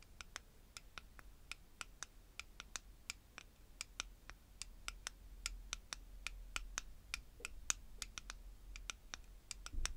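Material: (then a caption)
Plastic. Long-nailed fingertips stir and scratch through small purple pyramid beads in the open-top jar of a clear plastic stacking tower. The result is many quick, bright, dry clicks with almost no ring, over a low rumbling background.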